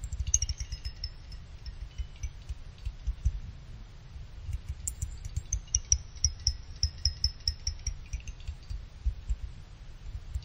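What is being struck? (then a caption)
Finned aluminum CPU heatsink. Fingers with a small pick pluck the thin side fins of a small finned aluminum CPU cooler heatsink, drawing about eighteen quick, bright, chime-like pings that die away almost at once. The high metallic tinks ride over a steady low rumble.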